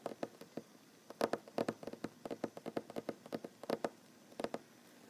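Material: Wood.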